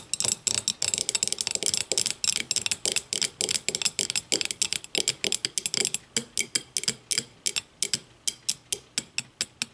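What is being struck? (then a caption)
Small glass tumbler. Long matte nails tap and scratch the sides of a small, empty, clear glass whiskey tumbler turned upside down on a wooden table. A rapid, steady series of sharp, bright clicks is heard, each decaying almost at once, with almost no low end. The taps are densest in the first half and become slightly more spaced toward the end.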